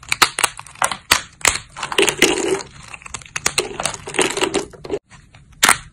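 Thin, solid cream-white dried soap plates (white soap sheets) are snapped between thumbs with long grey nails, producing a rapid series of sharp, dry cracks and crunchy crumbling crackles. The sound is bright and brittle with almost no low end, and each snap cuts off quickly. After a brief silence, one last loud snap comes near the end.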